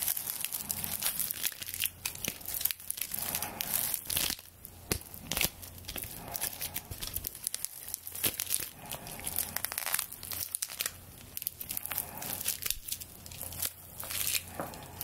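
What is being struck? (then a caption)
Straw broom bristles. A straw broom with a twine-bound straw handle is held over a microphone while long nails scratch along its stalks. The result is a dense, continuous run of bright, dry crackling and crinkling scratches with quick, sharp clicks, sitting over a faint, steady low hum.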